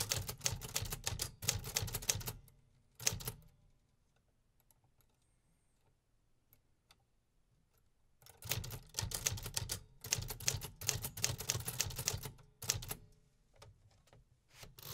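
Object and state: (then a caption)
Metal typewriter being typed on. A vintage 1950s Remington Quiet-Riter, a hollow metal-bodied desktop typewriter with paper loaded, is typed on with fingertips tapping the keys in steady real typing. Bursts of bright, crisp mechanical clacks with a low thump underneath run for a couple of seconds, then break for a pause of near silence before resuming in longer runs. Each keystroke is short and dry with almost no ring.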